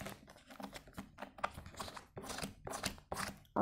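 Fingertips tap on the flat, sticker-covered lid of an empty, hollow, translucent white plastic food container. The result is a quick series of light, dry, hollow plastic clicks with almost no ring, the last tap landing loudest.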